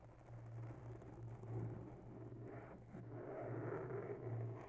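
Long natural nails lightly scratch and tap a grey foam microphone windscreen with a fine porous surface, working from both sides. A continuous soft, muffled scratching and rustling swells and eases over a steady low hum near 125 Hz, with almost nothing bright or high.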